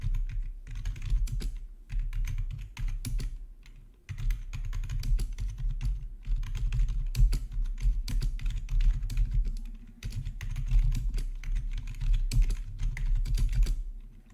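Both hands type with their fingertips on a plastic RGB membrane keyboard with black backlit plastic keycaps, resting on a marble surface. A dense, steady stream of soft, muffled key clicks sits over a deep low thump, with brief lulls near two, four and ten seconds. The typing fades out at the end.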